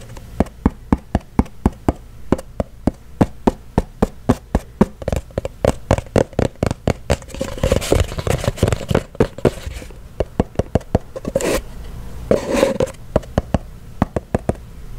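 A small, hollow, cylindrical kraft-paper cardboard box, held in the hands, is tapped and knocked with fingertips and nails. About sixty short, dry, hollow taps and clicks sound in a steady stream, with low body and almost no ring. Brief rustling swells between them near the middle and later in the clip.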